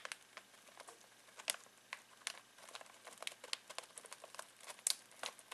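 Fingertips scratch and squeeze a full foil-plastic snack bag of pistachios, making it crinkle. Quiet, bright, crackly crinkles and sharp little ticks come in an irregular stream with almost no low end. Each snap dies away instantly.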